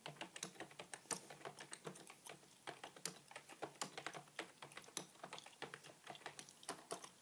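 Both hands type with their fingertips on a beige full-size plastic computer keyboard with a feather pen lying on it. About forty quick, soft keystrokes patter in an uneven, steady run. Each tap is a short, dry, bright click with little low end and no ring.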